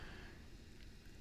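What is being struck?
Nothing is struck.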